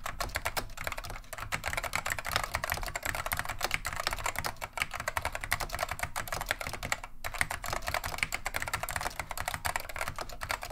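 Continuous two-handed fingertip typing on a beige plastic vintage Wang 725 mechanical keyboard with Alps SKCM Neon Green/Lime switches. A fast, steady stream of short, sharp, bright clacks fills the whole clip, with each keystroke dying away almost instantly and a faint low rumble underneath.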